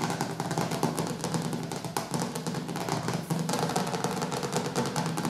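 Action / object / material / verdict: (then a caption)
tap / hardcover book cover / cardboard / none. Fingertips and nails tap and scratch quickly across the glossy dark cover of a large, solid hardcover cookbook with white edges resting on a wooden table. The result is a dense, continuous patter of short dull taps with a low body, overlaid by fine bright scratchy clicks, all at a steady soft level.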